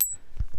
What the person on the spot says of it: has a dull thud, and you can hear it drop on the ground. It kind of has a dull thud, and that's it.